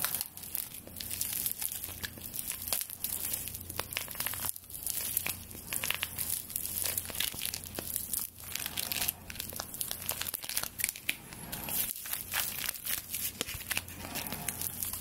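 Long dark nails scratch along the bundled straw handle of a full straw broom, which has a bound straw handle and a straw brush head and is held horizontally over the microphone. The result is a dense, bright, crinkly scratching made of many quick crackles and ticks that keeps going for the whole clip, with a faint low hum underneath.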